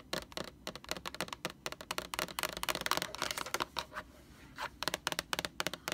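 Long orange fingernails on both hands tap rapidly on the label of a large, hollow white plastic Lysol laundry sanitizer jug. The result is a fast stream of short, dry, bright clicks with almost no ring, broken by a brief softer lull near the end before the tapping resumes.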